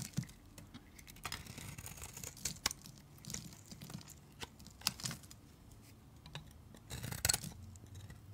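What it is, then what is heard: Dry bar soap being shaved. A utility knife blade shaves curls off a solid, dry, pale green bar of soap held in the hand. Quiet, bright scraping and cutting strokes come in short bursts, with sharp little clicks and crisp peeling scratches between the softer passes.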